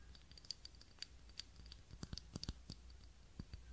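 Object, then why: Small ribbed glass candle holder. Long nails tap and scratch a small ribbed glass holder with a lit white wax candle inside. It makes a quick, uneven run of sharp, bright glassy clicks with very short ring. Between the clicks there is faint scratchy friction over a soft low hum.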